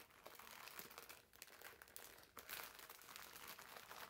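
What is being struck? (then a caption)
Foam bath sponge in thin plastic film. Fingertips squeeze and rub the clear plastic film wrapped around a green foam bath sponge. They produce a steady, quiet crinkling with many small bright crackles and almost no low end. A sharper burst of crackling comes in the middle, then the rustling continues to the end.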